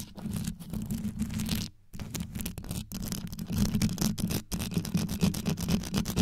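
Long yellow nails scratch fast from both sides over the rhinestone-covered grille of a black condenser microphone. The result is a dense, gritty scraping with a deep low rumble and bright crackling on top, broken by a few brief silent gaps.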